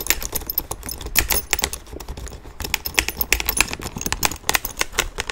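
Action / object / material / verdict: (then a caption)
tap / leather satchel bag / leather / none. Fingertips and nails tap and rub the leather flap and straps of a small, hollow tan leather satchel. Quick, crisp, bright clicks come in an uneven, dense stream, with soft scratchy rustling between them and almost no ring after each tap.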